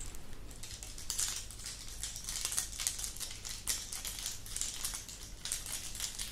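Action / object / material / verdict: shake / dangling earring of small glass discs on wire / glass / none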